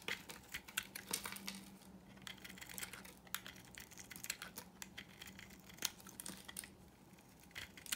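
A solid, dry, pink marbled rectangular bar of soap held in the hand is carved with a utility knife blade into curling shavings. The clip is a quiet, rapid run of dry, bright scraping and crackling clicks with very short decay. A faint steady low hum sits underneath.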